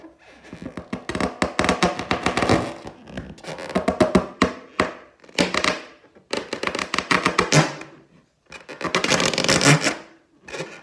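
Long teal nails tap and scratch across the surface of a large, hollow, inflated clear latex balloon printed with gold pineapples, recorded close-up. Dense bursts of bright, rasping scratches and quick dry taps come in several clusters separated by short pauses, each sound dying away almost instantly.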